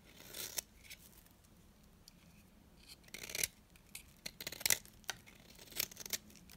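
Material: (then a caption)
Soap. A metal blade shaves and scrapes the surface of a small, solid, dry orange bar of soap held in the hand. The result is a series of short, dry, bright scraping and crackling strokes. Faint quiet gaps fall between the strokes.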